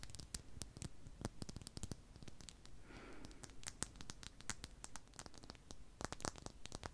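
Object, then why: Solid glass sphere tapped and scratched with fingernails. Long pink nails scratch and tap a palm-sized solid clear glass sphere held in the hand, making dozens of quick, sharp clicks with bright, crisp tops. Soft scratching rasps run between the taps, with a brief smoother swish near the middle. Each tap dies away almost instantly.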